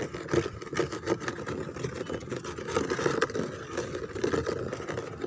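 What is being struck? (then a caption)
Molded plastic chair back. Long fingernails and fingertips scratch and rub across the textured back of a white molded plastic chair embossed with roses. The sound is a steady, dry rasp with repeated strokes that swell and fade, mostly in the low-mid range with a little bright hiss.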